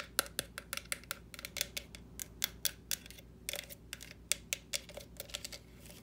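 Long nails tap and knock on the shell of a small, hollow orange plastic jack-o'-lantern lamp with carved-face openings, standing on a stand. About 27 sharp, dry clicks and knocks come in an uneven, rapid series, each bright and very short with almost no ring.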